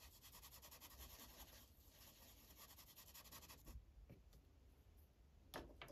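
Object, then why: Paper sheet on a clipboard rubbed with a felt-tip marker. The felt tip of an orange Sharpie marker is rubbed over a thin paper coloring page on a clipboard. Rapid, short, scratchy coloring strokes form a dense rhythmic rasp for most of the clip, then thin out into a few sparse strokes near the end.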